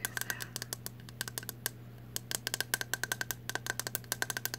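Long nails tap rapidly on the hollow, translucent green plastic back of a bristle hairbrush, making about thirty short, bright clicks with a hollow ring near 1.5 kHz. A brief pause falls in the middle, and a steady low hum runs underneath throughout.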